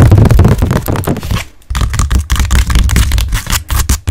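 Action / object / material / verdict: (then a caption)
tap / stretched canvas on a wooden frame / canvas / none. Long nails and fingertips rapidly tap and scratch the front of a blank white stretched canvas on a frame, about 20 cm square and hollow at the back. The result is a dense, irregular flurry of deep, hollow drum-like thuds mixed with dry scratching, with a brief lull about a third of the way through before the tapping resumes.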